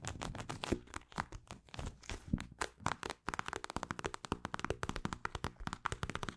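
Long acrylic nails tap and scratch a mint-green plastic eye mask filled with gel beads. The first half mixes soft, muffled taps with rustling scratches across the plastic. The second half becomes a quicker run of short, dry clicking taps with a dull low thud under each.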